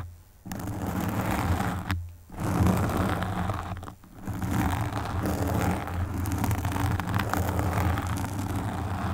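Long pink nails on both hands quickly scratch a black foam windscreen fitted on a desktop microphone. The result is a dense, low, rumbling scrape with a steady rustle. It breaks off briefly near the start and again around the two- and four-second marks.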